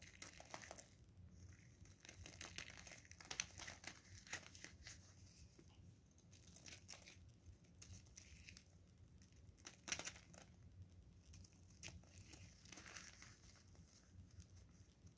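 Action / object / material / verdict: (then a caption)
scrape / bar of soap cut with a knife blade / soap / none. A solid blue bar of soap held in gloved hands is scraped and cut with a craft knife blade, and flakes break off. Quiet, bright, crinkly scraping comes in dense bursts of short crackles, with a few sharper snaps standing out.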